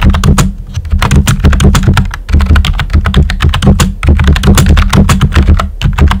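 Fingertips with short nails type quickly on a full-size pink plastic computer keyboard with a hollow body and round white typewriter-style plastic keycaps. The result is a dense, steady run of clacky key taps over a deep, hollow low thump.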